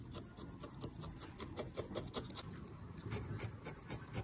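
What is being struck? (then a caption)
Felted wool figure. A small, solid felted wool figure with an orange wool layer is held in the fingers while a thin felting needle repeatedly stabs into the orange band. Each stab makes a soft, rasping, scratchy poke with a dull low thud and a bright crisp edge. The pokes come in a quick, steady rhythm, blending into a continuous textured crunch.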